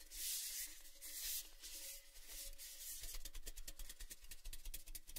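A large, empty, hollow red-painted Baileys metal tin is held in both hands while palms and fingertips rub and scratch its painted side. Broad, bright rubbing swells come first, then give way to a rapid run of crisp, scratchy ticks over a faint low rumble.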